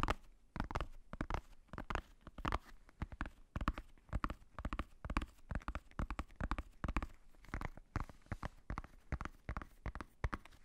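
Fingertips tap on the black faux-leather cover of a hardcover notebook held close to the microphone. Dozens of quick, soft, dull taps come in irregular bursts, mostly low in tone. Each tap dies away almost instantly.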